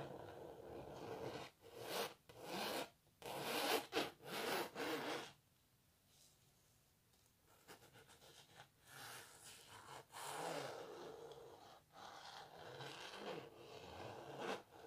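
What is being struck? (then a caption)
Painted canvas. Fingernails scratch near the edge of a canvas painting of a cellist, held tilted close. The sound is dry, raspy and broadband, coming in rough, uneven bursts. A quiet pause in the middle gives way to softer, steadier scratching before louder strokes return.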